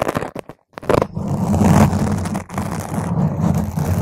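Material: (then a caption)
Foam. Long, pointed green acrylic nails scratch and tap a purple spherical foam cover on a microphone, ending with two single-nail touches on top. A few short muffled taps with brief silences give way to a continuous, dense, low rumbling scrape with almost no bright content.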